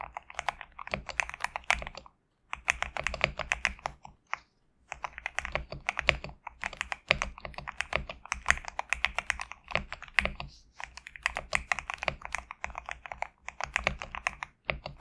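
Fingertips type steadily on a GMK67 compact mechanical keyboard with PBT plastic keycaps. A fast stream of short, sharp, bright clacks, with little low end, stops briefly twice in the first five seconds. Each keystroke dies away almost instantly.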